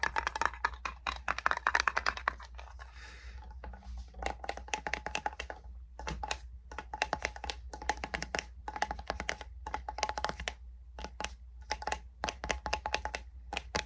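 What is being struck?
Small metal salve tin.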